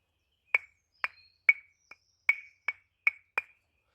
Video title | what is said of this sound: 🏕️STEALTH SHELTER & Survival skills camp🗡️ | Can you hear that high pitched ring? That is a seriously good indicator, guys, that your wood is dry.